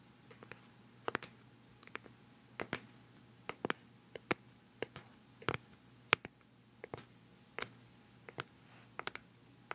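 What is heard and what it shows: A round, palm-sized, hollow white plastic cosmetic pad jar with a black lid is held close to the mic and tapped on the lid with nails and fingertips. The quiet, uneven taps are sharp, dry clicks with a bright edge that stop almost instantly, over a faint steady low hum.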